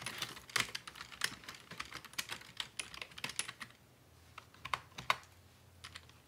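A black plastic Dell full-size computer keyboard with a hollow housing is typed on steadily by both hands, using fingertips and short nails. Rapid, bright plastic key clicks come in a dense burst for the first three and a half seconds. After a short quiet gap, a few scattered taps follow.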